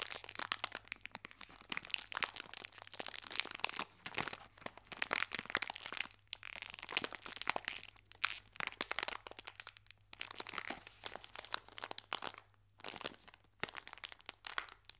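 A small green metallic foil biscuit wrapper is squeezed and rolled in the hands, producing a steady stream of bright, crisp crinkling and crackling. The sound comes in dense, quiet bursts with brief pauses between them, and it is mostly high-pitched, with almost no low end.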